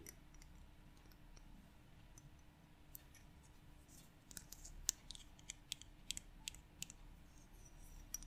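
A small 75 ml glass bottle of gloss varnish with a white ribbed plastic screw cap and a yellow-and-black paper label, partly full of clear liquid, is held in both hands and tapped on the glass and cap with long yellow-painted nails. After a quiet, faintly hissing start, sharp, bright clicks come in scattered taps that cluster more densely in the second half. Each tap is very short and dies away almost instantly.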